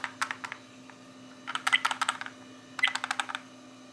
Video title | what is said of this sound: 1080p novatek Car DVR rear view mirror rattling noise | a rattling noise. That's a rattling